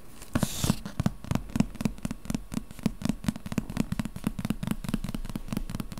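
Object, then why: Hardcover book with glossy paper dust jacket. A medium hardcover book with a glossy paper dust jacket, solid and lying in front of the microphone, is tapped and scratched with the fingertips and nails of one hand. A brief bright scratch opens the clip, followed by a quick, steady run of short, dull, low taps with a slight papery click on top.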